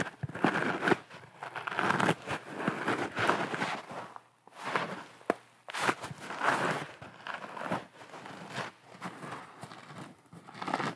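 A large, round, porous yellow sponge, soft and dry, is held in both hands and squeezed and scratched with nails and fingertips. It makes bursts of crunchy, crinkly scratching that swell and fade, with a few sharp clicks and brief quiet gaps between.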